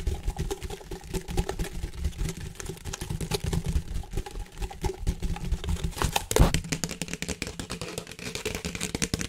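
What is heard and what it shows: A large, hollow, empty white plastic flexible duct hose with ribs is held close to the mic and tapped and rubbed along its ribs with fingertips and nails. The result is a dense, continuous stream of quick, short taps and scratchy clicks over a low, hollow boom centered near 170 Hz. One louder thump stands out a little past the six-second mark.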